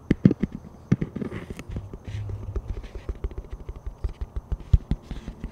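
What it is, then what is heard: Plastic frisbee disc. A plastic frisbee disc is held flat and tilted while fingertips tap its top surface in a quick, uneven series of taps. Each tap gives a short, dull, low knock that dies away almost at once.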